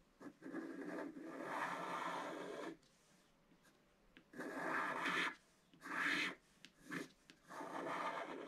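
A wooden stylus scratches fine lines into the centre of a mandala on a flat black-coated scratch-art card. Dry, raspy scratching comes in bursts of varying length, one long stretch followed by shorter strokes, separated by near-silent pauses. The sound is steady and gritty, with its weight in the low mids and a brighter rasp on top.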